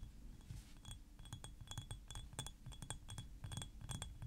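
A thick clear glass perfume bottle with blue liquid and a silver cap is held in the hands and tapped and clinked with nails and fingertips. A quick, steady run of quiet, bright glassy clinks and taps rings briefly over a low background rumble.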